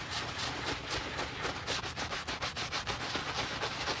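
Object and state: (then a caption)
Leather boot being scrubbed. A wooden-handled bristle brush scrubs vigorously through soap foam along the side and heel of a hollow black leather UGG men's boot. The result is a steady, rapid, bright, hissy scrubbing made of quick back-and-forth strokes with little low end.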